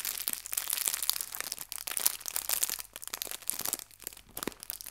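The edges of a small clear plastic bag holding artificial fabric leaves are pinched and crinkled with fingertips and long nails. The result is a dense, bright crinkling with sharp little crackles, almost no low end, busiest in the first half before thinning into softer, sparser rustles.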